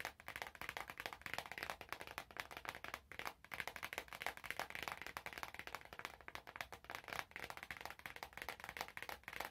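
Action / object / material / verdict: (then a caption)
tap / small cardboard box / cardboard / none. Long nails tap rapidly on a small, hollow, glossy orange cardboard perfume box held in both hands. The result is a dense stream of quick, dry, papery clicks with a bright, hollow tone and almost no low end, broken by brief pauses near 3 and 7 seconds.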